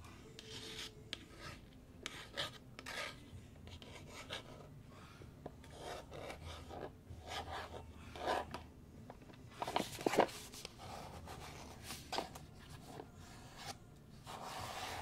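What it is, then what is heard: Cardboard box. A small printed pura d'or cardboard product box, hollow and held up in both hands, is scratched and rubbed across its surface with fingertips and short nails. Soft, dry rasping strokes come in repeated short bursts over a quiet background. A few sharper scrapes stand out near the middle.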